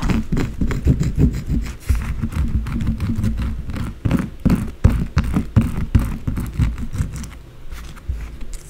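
Long blue acrylic nails tap and scratch fast across the top of a white solid bar of soap lying flat on a dark surface. The result is a dense, uneven run of quick, dull taps and short scrapes, mostly low and muffled with brief bright clicks, that keeps going for the whole clip.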